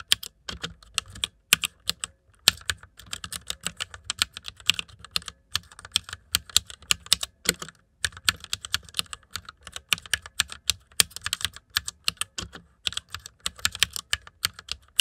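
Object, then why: Plastic mechanical computer keyboard. Fingertips of both hands type on the keycaps of a white plastic mechanical computer keyboard. Rapid, bright, sharp clicks come in quick bursts separated by brief pauses, each click dying away almost instantly with little low-end weight.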